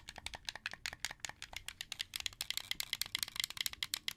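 A hand-held, hollow, translucent blue plastic Xbox 360 controller has its face buttons and thumbsticks pressed by fingers, then its triggers clicked. About 28 quick, dry plastic rattling clicks follow one another in an uneven run. Each is bright and high-pitched with almost no low end and dies away instantly.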